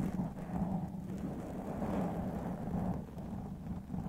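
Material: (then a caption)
Foam. A large black windscreen of soft, porous foam over a white condenser microphone is scratched and rubbed with the fingertips and nails of both hands. The result is a steady, muffled rumble of dense low scraping with a faint low hum and almost no bright content. It swells and dips slightly across the clip.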